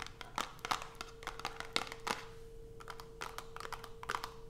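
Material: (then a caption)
Cardboard. Long almond-shaped acrylic nails tap and scratch a small white Coast cardboard soap box, closed with a bar inside and resting on black fabric. A rapid series of sharp, dry taps mixes with papery scratching. A faint steady tone hums underneath.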